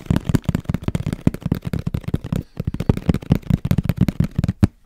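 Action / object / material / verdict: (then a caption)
tap / small cardboard box / cardboard / none. A small, hollow, black printed cardboard camera box held in the hand is tapped quickly with fingertips and nails. The result is a rapid, uneven run of short, dry, hollow thumps, low and boxy in tone, with crisp clicking edges. The run pauses briefly midway, then resumes, and ends with a final tap.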